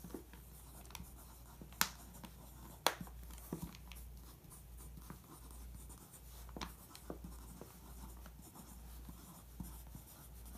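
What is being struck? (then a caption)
Pencil on glossy magazine page. A pencil point scratches across the printed headline and photo on a glossy paper magazine page, tracing them. Quiet, soft scratching runs throughout over a steady low hum, broken by a few sharp, bright clicks, with the two loudest early on.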